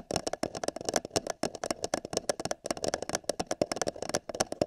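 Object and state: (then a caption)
Empty paper cup tapped. Fingertips and long nails tap the side of an empty, hollow printed paper cup held over a binaural microphone ear. About 33 quick, irregular taps sound, each a bright click over a hollow ring near 600 Hz that dies away almost instantly.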